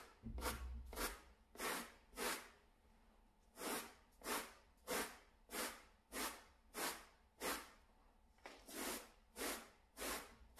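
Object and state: Synthetic pile door mat being brushed.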